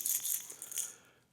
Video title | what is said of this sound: Top 5 Bass Fishing Gear Essentials You Can’t Fish Without #bassfishing #vexusboats | I got the rattles inside this as well you can hear it